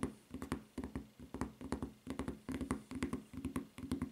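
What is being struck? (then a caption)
Rubber flip-flop sole. Long nails tap quickly on the footbed of a white rubber flip-flop with a red print and strap, giving a fast, uneven run of short, dull clicks with a faint low resonance and almost no ring.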